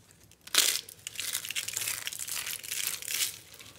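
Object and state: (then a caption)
Dry, brittle bar soap pieces. Fingertips crush and rub a pile of small, solid, dry, brittle pink soap chunks from a Palmolive bar on a dotted board. A sharp crunch opens the clip, then a steady run of bright, dry crumbling and crinkling that swells again near the end before fading.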